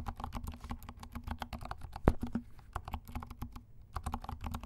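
Fast typing with the fingertips of both hands on a compact black mechanical keyboard with silent switches and black and pink plastic keycaps. It makes a rapid stream of soft, muted, low-pitched clacks, with one sharper, louder click near the middle and a brief pause before the typing resumes.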